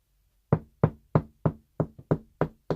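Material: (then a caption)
Wood. Eight knocks on an interior wall directly over a wooden stud give short, dull, low thuds that die away almost at once with no hollow ring. This solid "hard" sound marks where the stud is, where a screw driven in will hold properly instead of spinning.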